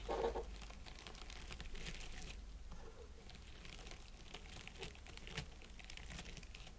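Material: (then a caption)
Plastic. Fingertips tap and scratch the needles of an artificial plastic pine wreath set around an LED candle. A quiet, steady crinkling and rustling carries brief brighter ticks throughout, with a louder crackle at the very start. A constant low hum runs underneath.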